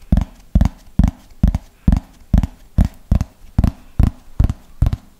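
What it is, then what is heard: Plastic flying disc tapped with fingernails. A thin yellow plastic flying disc with a hollow underside is held close to the microphone and tapped with long fingernails at a slow, steady pace of about two taps per second. Each tap is a short, dull, bass-heavy knock that dies away almost at once, with no ringing.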